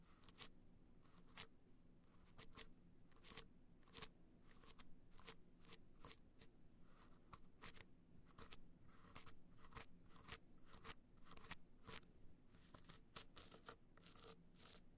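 Long nails scratch across a small, rigid, hollow box clutch held upright, its gold metallic surface covered in raised dots. A steady stream of short, crisp, bright scratches and clicks rises over a quiet low hum, each stroke dying away almost instantly.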